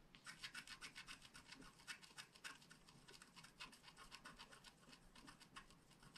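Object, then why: Wax-coated scratch art card scratched with a wooden stylus. A wooden stylus scratches the mane area of a flat black scratch art card made of wax-coated paper. A rapid, uneven run of short, dry, bright scraping strokes follows, each a quick rasp with little low end that dies away almost instantly.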